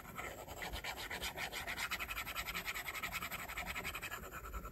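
A plastic stylus tip draws on an iPad's glass screen in quick scratching strokes. The strokes come as a fast, steady series of bright, dry scrapes centered in the mid-to-high range, with a sharp, gritty edge.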